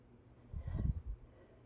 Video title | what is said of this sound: everything i know about american girl conterfeit dolls | the real stuff feels very hard, and when you tap on it, it's not hollow.